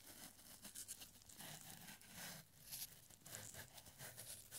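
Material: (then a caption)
Paper. A thin, yellowed paper strip with handwritten numbers, part of a small paper scroll, is gradually unrolled and stretched between gloved fingertips. It makes a soft, continuous bright crinkling and rustling, with brief sharper crackles rising and falling throughout.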